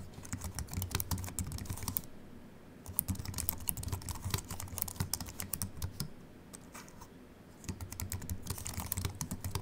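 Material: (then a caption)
Aluminium, plastic. Fingertips of both hands type on a compact Apple keyboard with a silver aluminium body and white plastic keys, resting on a wooden desk. Quick, short, bright key clicks come in bursts, with brief lulls in the typing, over a steady low background hum.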